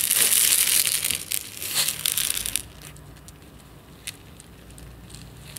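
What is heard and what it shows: A medium plastic jar with a yellow lid, holding instant tea granules, is tilted and shaken with fingertips on the jar. The granules make a bright, crackly rustle for about two and a half seconds, then it drops to near quiet with a few faint ticks.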